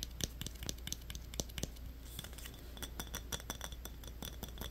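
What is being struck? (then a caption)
Metal twist cap on a small glass bottle. Fingernails scratch and tap quickly on top of a yellow metal twist cap on a small glass Yoo-hoo bottle. Bright, clicky ticks and light scratching sound in a fast, uneven run, each tap dying out almost at once. A steady low hum continues underneath.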